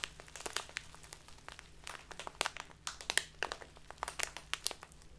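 A clear plastic tea package with a label, full of loose tea, is squeezed and crinkled with fingertips and long nails. This makes a quiet, steady stream of short, sharp, bright crinkles and crackles with almost no low end, and each snap dies away instantly.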